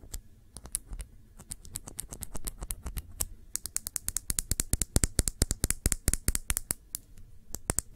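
A small glass nail polish bottle with a black cap, filled with dark polish, is turned in the hands and tapped with long nails. Around fifty quick, bright, dry clicks land in an uneven rhythm, growing denser and louder in the second half, over a soft low handling rumble.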